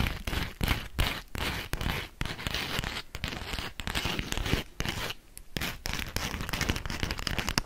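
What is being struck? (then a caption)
Beeswax-coated cotton food wrap. A thin, yellow polka-dot beeswax-coated cotton food wrap sheet is held near the microphone while long nails tap and scratch it. The result is a dense, continuous run of crisp crinkling, papery tearing-like scratches and sharp taps, with a broad bright hiss over a low thumping body.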